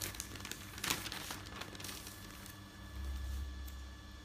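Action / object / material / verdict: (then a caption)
scrape / newsprint newspaper pages / paper / none. A hand lifts and turns a newsprint newspaper page close by, then rubs the sheets flat. Bright crinkling rustles peak early in a sharp papery burst, then settle into a softer, steady rustle. Underneath runs a low rumble and a faint steady hum.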